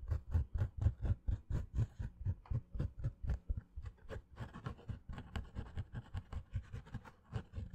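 A green structured snapback baseball cap with a fabric crown, held near the mic, is scratched with long fingernails. Quick, rhythmic rasping strokes repeat at about two per second, each a low, dull scrape with soft, high fizz on top. The strokes are steady at first, then grow denser and less even toward the end.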